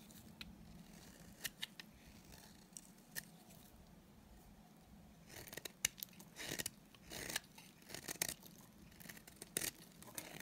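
A solid, dry green bar of soap held in the hand is shaved with a utility knife blade. Sparse, bright scraping clicks come first, followed by denser, louder runs of crisp scraping in the second half. A faint, steady low hum sits underneath throughout.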